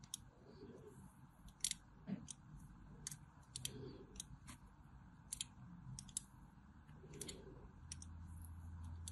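A small metal blade carves deep diagonal grooves into a solid white bar of soap with a cross-hatched face, held in the hand, as flakes fall off. Quiet, crisp, bright scraping clicks come in a steady run of short strokes over a low, soft background.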